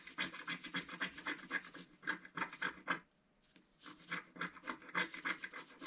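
A wooden stylus scratches repeated short strokes across a black coated scratch-art card in a book. It makes a fast, bright, dry rasping that pauses briefly midway and then resumes.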